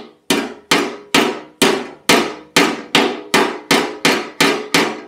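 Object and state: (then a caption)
Steel scooter legshield being hammered. Thirteen ringing metallic hammer blows land at a steady pace on the large, thin, hollow-backed pressed-steel legshield panel of a white Lambretta scooter being repaired, while a gloved hand holds a dolly against its inner side. Each strike is a bright, clanging knock with a mid-pitched ring that fades quickly before the next blow.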